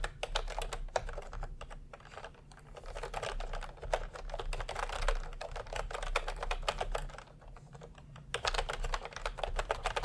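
Both hands type continuously with their fingertips on a plastic retro milk-tea keyboard with round keycaps. The keys give rapid, sharp clicky taps over a low steady hum, with brief quieter lulls near 2.5 and 7.5 seconds before the typing picks up again.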